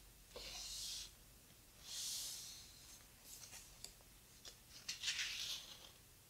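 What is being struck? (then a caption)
Hardcover book with heavy paper pages. Fingertips rub the heavy paper pages of an open, thick hardcover photo book and turn them. Three soft, bright, breathy swishes rise and fade, with faint taps and crinkles of paper in between.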